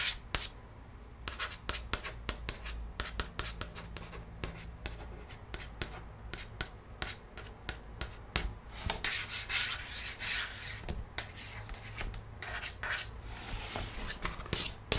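A long fingernail traces the text and illustration on an open board book's thick laminated paperboard page, making dry, bright scratching and rubbing with many quick light ticks. The scratching grows louder and denser in the second half of the clip.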